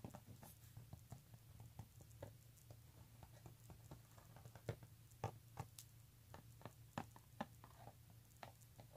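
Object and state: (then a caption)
Leather handbag. Fingertips and nails scratch and tap the front of an embossed pink leather handbag with brown leather trim lying flat. Quick, dry, short taps and soft scratches patter irregularly over a steady low hum, with a few louder taps standing out.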